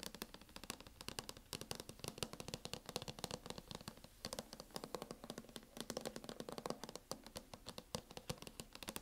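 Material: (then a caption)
Metal. Fingernails tap rapidly and continuously on a MacBook cover as ASMR tapping with no talking. The dense stream of short, dry clicks is bright with a light low thump, and each tap dies away almost instantly at a quiet level.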